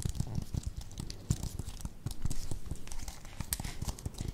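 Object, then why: Plastic computer keyboard. A slim white plastic computer keyboard, held up near the microphones, is tapped and pressed with fingertips and long nails. The result is a fast, irregular run of short, dull typing clicks with a low, thuddy body and faint bright ticks, each dying away almost instantly.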